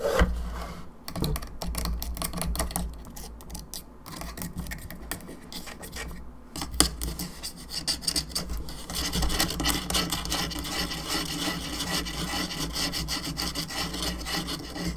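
Long nails scratch across the top of the cranium of a hollow plastic skull candelabra lamp, making a dense, continuous dry rasping and rubbing. The scratching grows busier and brighter in the second half, over a steady low hum.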